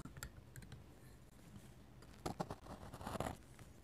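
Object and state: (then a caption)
Pen nib scratching a sketchbook page. A metal-nib dip pen scratches lines onto a paper sketchbook page. Quiet, dry scratching and faint ticking carry throughout, with brief bright strokes early on and louder raspy bursts of scratching near the middle and toward the end.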